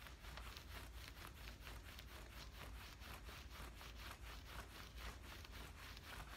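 Fingernails scratch and rub down the thigh of worn camouflage cotton cargo pants, making a steady run of quick, rhythmic scraping strokes. Each stroke is a soft, bright fabric rasp over a low, muffled rumble, and the level stays quiet and even throughout.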